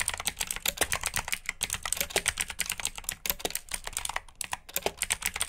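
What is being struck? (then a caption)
Plastic mechanical keyboard. Fingertips type steadily on a black plastic, backlit mechanical keyboard with blue switches. Rapid, crisp clicks and clacks follow one another, bright and sharp with almost no low end, and each keystroke dies away almost instantly.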